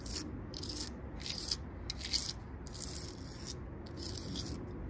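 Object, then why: Tree trunk bark. Long purple nails and fingertips tap and scratch the ridged bark of a large, solid tree trunk outdoors. Bursts of crisp, bright scratching come and go at an uneven pace over a steady low rumble in the background.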